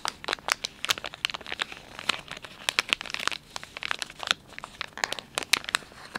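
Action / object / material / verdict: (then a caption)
scrape / soft plastic film wet-wipes pouch / plastic film / none. Fingers crinkle the soft plastic film of a filled, palm-sized Dettol wet wipes pouch and fold its sealed end. The result is a dense run of sharp, bright crackles and crinkles with almost no low end, each snap dying away instantly.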